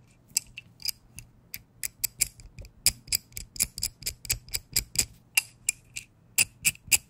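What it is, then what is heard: Metal adjustable wrench. A small metal adjustable wrench has its adjusting screw turned while its metal is tapped with fingers, making a quick, uneven series of about 25 sharp, bright ticks and clinks. Each tap dies away almost instantly, with a thin metallic ring near 2.7 kHz and little low end.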